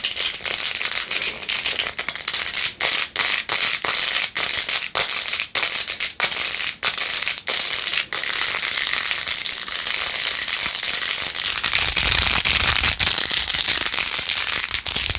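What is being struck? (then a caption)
Plastic phone case covered in plastic pearl beads. Long acrylic nails scratch fast across rows of pink plastic pearl beads glued onto a handheld plastic phone case with a rose-gold edge. The result is a dense, bright, rattling scratch with quick clicks, broken by brief pauses in the first half. It then runs steadier and a little louder toward the end.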